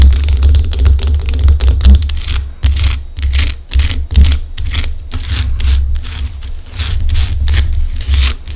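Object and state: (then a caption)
Himalayan rock salt lamp. A large, solid pink Himalayan rock salt chunk lamp is tapped and scratched with long acrylic nails on both hands. Quick, irregular bright clicks and dry scraping strokes come in dense bursts, over a steady low hum that runs throughout.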